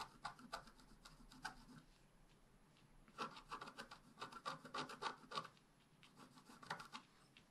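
A wooden stick makes rapid, short scratches near the bottom of a black-coated scratch-art paper page held down by the left hand. Dry, raspy strokes come in quick clusters, with a quieter stretch in the middle and again near the end. The scraping is thin and bright, with little low end.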